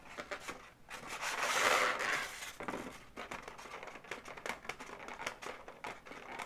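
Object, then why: Inflated latex balloon dog. Long nails tap and scratch the legs of a hollow, inflated pink latex balloon dog. A louder, bright rubbing swell in the first couple of seconds gives way to a quick, uneven run of sharp taps and scrapes against the latex.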